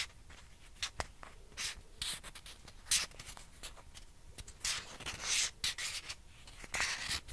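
A single small, hollow white plastic ping pong ball is held in both hands and scratched and rubbed with long painted fingernails. Quick, bright scratching hisses and rubbing swells mix with sharp, dry clicks and taps. The sounds are quiet and close, with very little low end.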